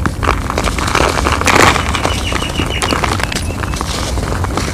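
Bare hands crush and crumble small, dry, compacted clumps of loose grey cement-sand from an outdoor pile, letting the powder fall between the fingertips and palms. The result is a steady, gritty crackling and crunching with many small snaps, set over a low rumble, with brighter grainy bursts as the clumps break apart.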